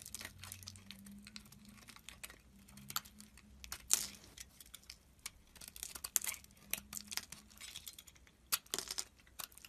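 A solid orange soap bar held in the hand is cut and shaved into pieces with a metal utility knife blade. The sound is a run of quiet, crisp, bright scrapes and crinkly snaps as the blade slices through. A faint low hum sits underneath.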